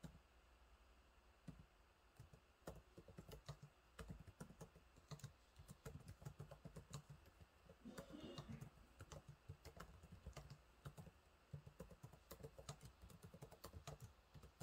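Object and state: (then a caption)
Plastic laptop keyboard being typed on. Fingertips type on the low-profile plastic keys of a silver laptop keyboard, making a quick, steady run of soft, dull clicks and taps for about fifteen seconds. The taps are short and dry over a faint low hum, with a brief, slightly brighter rustle near the middle.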